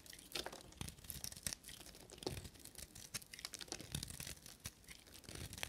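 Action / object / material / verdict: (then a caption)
scrape / bar of soap scraped with a knife / soap / none. A small, solid bar of dry blue and white soap, held in the fingers, is shaved and scraped with a carving knife blade, peeling off flaky curls. Quick, dry, bright scratching and crackling strokes follow each other closely with a light, crisp crunch.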